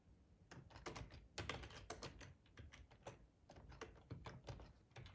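Fingertips type at a moderate pace on a hollow black plastic split ergonomic keyboard. The result is a steady run of quiet, clicky taps with a low thud and brief, bright key clatter.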